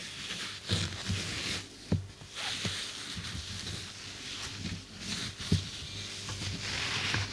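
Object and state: Nothing is struck.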